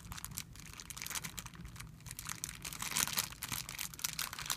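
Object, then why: Thin plastic film bag. Flat fingers rub and pinch a thin, clear plastic film bag spread out on a white surface. The result is a steady stream of bright, crisp crinkling that swells to its loudest around the middle before settling into quicker, softer rustles.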